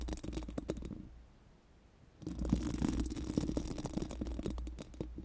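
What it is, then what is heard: Steel mesh microphone grille brushed. Four pink silicone spoolie brushes are rubbed over a bare, hollow steel mesh microphone grille, making a dense, scratchy, crackling rustle with a low hum underneath. The brushing stops for about a second, leaving near silence, then resumes louder and keeps going in quick, uneven strokes to the end.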